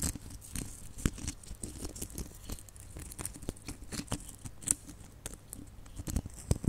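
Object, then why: Small hollow plastic baubles with glitter coating. Long nails scratch and tap across a cluster of small, hollow, red glitter-coated plastic Christmas baubles. Quick, dry, closely spaced taps sit over a gritty, crackling scratch from the glittery surface, with bright scraping edges and soft low knocks. Each tap dies away almost instantly, leaving a quiet, busy texture.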